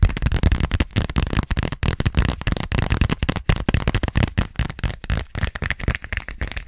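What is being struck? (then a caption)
Glossy vinyl zippered pouch. Long nails rapidly tap and scratch on a small pink glossy plastic (vinyl) zippered pouch with a flamingo print. The result is a dense stream of short, crackly, crinkling taps with a strong low thump under each one. Each tap dies away almost instantly.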